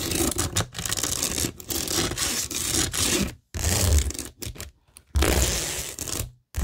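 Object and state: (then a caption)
Rhinestone-covered cork board being scratched. Long nails scratch and rub across a flat, solid framed cork board covered with a pink rhinestone mesh sheet and pearl stickers. The result is dense, gritty, bright scraping with a low rumble underneath, broken by a few short silent pauses.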